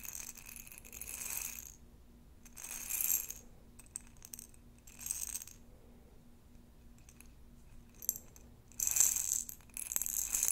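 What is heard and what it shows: A rounded glass jar with a metal lid, about a quarter full of small round plastic beads, is held in both hands and tapped and scratched with long nails on the glass while the beads shift inside. Bright, crisp bursts of rattling and clicking come in waves separated by quiet stretches, growing busiest and loudest near the end over a faint steady low hum.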